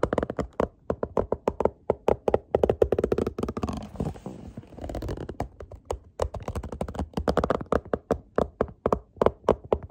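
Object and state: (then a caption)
Cardboard box tapped with fingertips. Fingertips tap rapidly on the text-covered top face of a small, hollow printed cardboard product box held up close. The quick, dry, hollow taps have a mid-pitched body, briefly giving way around the middle to a softer, continuous scratchy rustle before the steady tapping resumes.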